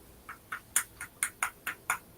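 A one-off woven-weave graphite guitar neck made by Status Graphite is tapped eight times in quick succession. Each tap gives a short, dry, bright click with energy mostly around 1–2 kHz and almost no low end. Each click dies away almost immediately, with a slightly fibrous character to the taps.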